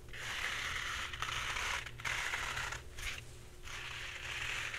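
Long red-painted nails scratch the surface of a full roll of white embossed paper towels, soft and hollow-cored, held upright and sideways. The result is a steady, bright, papery scratching hiss centered around 2 kHz, broken by a few brief pauses and shifts in stroke.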